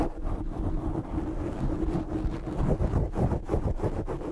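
Fingertips scratch the top of a black foam windscreen on a desk microphone. The result is a steady, dense, rumbling scrape that is mostly deep and muffled, with little high-end content. Faint rhythmic pulses come through as the scratching continues.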